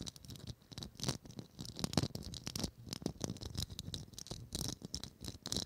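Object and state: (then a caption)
Plastic Christmas ornament. Long acrylic nails tap and scratch a small hollow gold Christmas ornament ball, probably plastic, with a faceted, studded surface and a gold cap, held in both hands. A quiet, steady stream of quick, dry clicks and scratchy rattles follows, each with a soft low knock and a bright, crisp edge that dies away almost at once.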